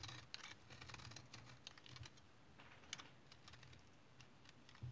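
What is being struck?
Household soap remnant cut with a knife.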